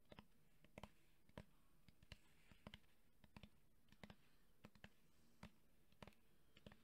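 A red JBL cylindrical portable Bluetooth speaker, with a woven fabric grille over a hollow hard plastic body, is held in one hand and tapped quickly with the fingertips and nails of the other. About 23 short, dull, low-pitched taps sound in an uneven rhythm. Each tap dies almost instantly over a faint steady hiss.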